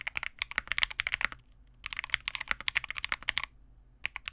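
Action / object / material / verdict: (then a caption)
tap / plastic mechanical keyboard / plastic / none. A Vega65 65% mechanical keyboard with re-lubed Cobalt switches, white plastic keycaps and a dark case is typed on continuously with the fingertips of both hands. Quick, bright, dry key clacks come in bursts with two brief pauses, and each keystroke dies away almost instantly.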